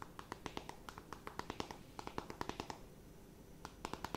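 Long nails tap and scratch a closed, flat rectangular cardboard eyeshadow palette, making 26 quiet, sharp taps in quick irregular runs. Each tap ends almost instantly, with a soft scratchy rustle underneath. The taps pause for about half a second of faint scratching near the end, then resume briefly.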